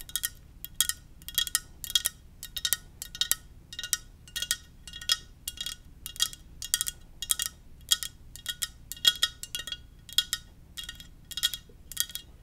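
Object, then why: Ceramic mug. A Darth Vader ceramic mug is tapped gently over and over in quick, uneven bursts. Each tap is a short, bright clink with a high ringing tone that dies away almost at once, over a faint low background hum.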